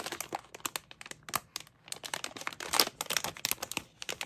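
A small sealed printed plastic-foil mystery bag with a toy inside is held in both hands and crinkled and scratched with long painted nails. Quick, bright crackling and crinkling bursts come in dense, uneven clusters with a short pause near the middle. Almost no low end; the crinkles are sharp and dry, with barely any ring.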